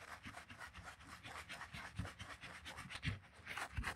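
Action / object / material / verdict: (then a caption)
scrape / suede-covered cork sandal footbed / suede, cork / none. A wooden-handled bristle brush scrubs the soap-foamed, suede-covered cork footbed of a Birkenstock sandal held in hand. Quick back-and-forth strokes make a continuous wet, frothy scratching and rubbing with a bright hiss. A few heavier low thumps stand out near the end, and faint background music may be present.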